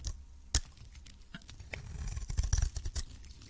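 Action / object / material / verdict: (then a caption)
scrape / coated soap bar cut with a metal blade / soap / none. A metal blade scrapes and cuts shavings off a hand-held pink solid soap bar with a purple coating. Crisp, bright crackling clicks and short scrapes stand out over a low, soft rumble. A sharp snap comes early, then a denser, louder run of scraping toward the end.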